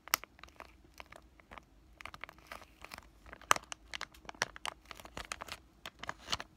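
A palm-sized white flexible plastic-laminate pouch of acne patches is crinkled and squeezed by fingertips with short painted nails. It makes a quick, irregular run of sharp, dry crinkles and crackles, bright with almost no low end, each snap dying away instantly against a quiet background.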